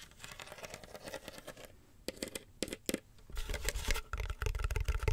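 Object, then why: Woven wicker basket. A small, hollow, empty woven wicker basket with a black base is held in both hands while long nails scratch and tap its woven rim and sides. Dry, crackling scratches give way to a few sharp, isolated taps, then denser and louder scratching with a low, hollow thump underneath.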